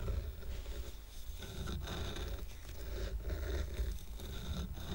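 Fingernails of both hands scratch the top surface of a stack of square painted wooden coasters tied with twine. The result is a steady, dense scraping with a deep, low rumble underneath and a faint bright grain, broken by a few brief pauses in the strokes.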